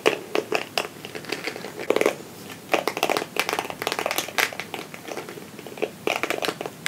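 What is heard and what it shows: A small, palm-sized red plastic Tangle Teezer-style detangling brush, with a solid back and dense short flexible plastic bristles, is held in one hand while the other hand's fingertips and nails scratch and run across the bristles. The result is a stream of dry, crackly, bright scratching bursts with almost no low end.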